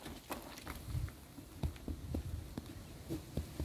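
Gentle taps on a goat's swollen, distended abdomen produce six soft, low, hollow thumps that ring briefly. The resonant sound indicates bloat with gas-filled, distended bowels.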